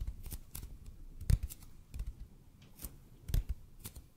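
A large, hollow, red-and-white EPP bead foam roller is tilted and tapped with the fingertips. Slow, uneven taps give dull, low thuds with soft, bright clicky edges. Two stronger knocks stand out among quieter ones, each dying away almost at once.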